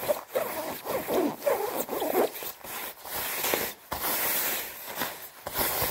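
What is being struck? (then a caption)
Quilted nylon down jacket. Fingertips with red-painted nails rub and scratch the padded chest panels of a white quilted nylon down puffer jacket being worn. Quick, crinkly swishes and scratchy rasps come in bursts with short pauses, bright and papery, with almost no low end.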